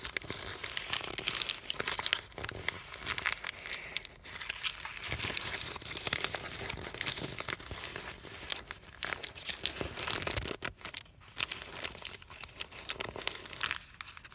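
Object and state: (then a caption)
Crumpled paper sheet. A small sheet of thin white printed paper, bunched into a loose wad and then flattened on a canvas cushion, is crumpled and rubbed with fingertips. Dense, bright crinkling and crackling fills the whole clip, with frequent sharp little snaps and almost no low end.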